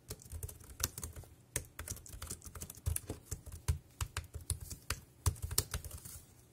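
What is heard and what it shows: Fingertips type on the keys of a dark grey, compact plastic wireless keyboard. A steady run of short, dry key clicks carries a low thud and a bright tick, with each press dying away almost at once.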